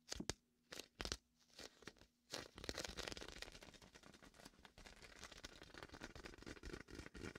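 A large red and white hollow inflated vinyl beach ball sits beside the mic as fingertips press, peel and rub its sticky vinyl surface. A few separate bright, crackly peeling sounds with short silences between them give way to a steady run of tearing, crinkling peels and rubs over the vinyl.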